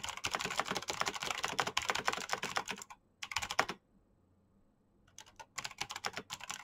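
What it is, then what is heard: Plastic mechanical keyboard. Fingertips type quickly on a black plastic mechanical keyboard with clicky switches, producing bright, sharp clicks in dense bursts. The typing stops briefly, returns in a short flurry, falls silent for over a second, then resumes in uneven runs of keystrokes.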